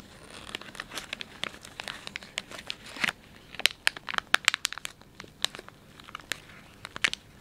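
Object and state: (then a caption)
Plastic wet wipes pouch being crinkled. Thumbs and fingertips rub and crinkle the soft plastic film of a filled, palm-sized Dettol wet wipes pouch. The result is a dense run of bright, dry crinkles and sharp crackling snaps with almost no low end, each one stopping short with no ring.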